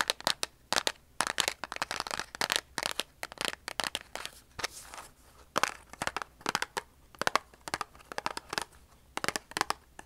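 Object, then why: Cardboard matchbox. A large cardboard matchbox held in the hands is tapped and scratched along its sides and printed faces with long polished nails. Quick, dry, bright clicks come in irregular bursts, mixed with short papery scratching and crinkling, with almost no low end and no ring after each tap.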